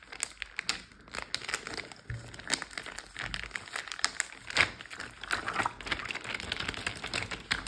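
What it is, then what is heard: Plastic bag filled with water. Fingertips and short nails tap and scratch on a large, clear plastic Ziploc bag full of water that is lying flat, crinkling the plastic. A dense run of quick, bright taps and crackling crinkles follows, with little low end and almost no ring after each touch.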